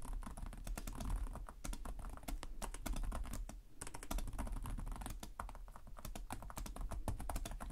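Both hands type rapidly with their fingertips on the plastic chiclet keys of a black laptop with a hollow chassis. The result is a dense stream of short, sharp clicks over a steady low hum, with a brief lull near the middle before the typing picks up again.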